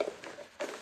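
Knocking on one of several unidentified hard objects inside a bag, heard as short, dry knocks with a brief rattling rustle between them, showing the objects are hard, not soft. Two knocks stand apart, each ringing out almost at once around a midrange pitch.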